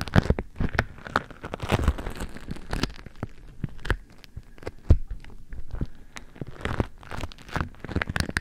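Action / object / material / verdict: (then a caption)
scrape / beeswax-coated cotton food wrap / waxed cotton / none. A beeswax-coated cotton food wrap covers the microphone while fingertips at its sides squeeze and crinkle the waxy cloth. Dense, irregular crackles and crisp crunches come in uneven bursts, with deep, close thumps underneath and sharp clicks reaching up to bright highs.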